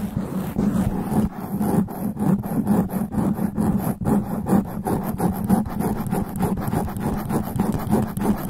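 Black extra-long nails from both hands scratch fast and aggressively over a black foam sponge windscreen, a soft porous layer covering the hollow head of a USB condenser microphone. The result is a dense, steady stream of rough, rasping scratches with a low, humming body and a bright, airy top, continuing without pause throughout.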